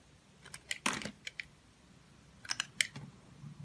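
A utility knife with a steel blade and green handle scrapes and shaves thin layers off a small, solid, translucent orange glycerin soap bar held in one hand. About nine short, crisp, bright scraping clicks come in two clusters separated by a quiet pause, each stopping almost instantly over a faint background hiss.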